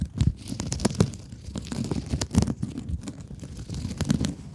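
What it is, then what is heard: Mesh scrub sponge scratched with nails. A rectangular blue sponge with woven scrub mesh, held in both hands, is scratched with long nails. The result is a run of dry, crinkly, tearing scratches with short bursts that die away almost at once, and most of the energy sits in a low rumble with little bright edge.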